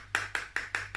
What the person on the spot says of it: So Mummy's Vaseline bottle has a funny sound because it sounds like metal.